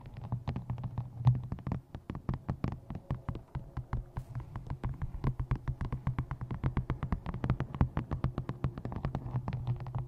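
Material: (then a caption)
Paper. Fingertips and long nails tap rapidly along the top edge of a paperback book held upright, striking its card cover and paper pages. The result is a dense, steady run of short, dry, thumping clicks with a strong low body around 130 Hz and little high sound.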